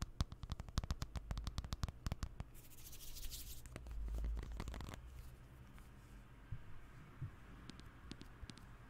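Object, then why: Aluminium and glass smartphone. Fingertips tap quickly and unevenly on the aluminium back of a thin, hollow-bodied silver iPhone with a glass front, held flat above the microphone, making dull, short, low thuds with a brief bright scratchy rustle partway through. After about five seconds the tapping stops, and the phone is held and tilted in one hand, leaving a quiet low rumble with a few soft, isolated ticks.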